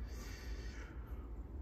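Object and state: Nothing is struck.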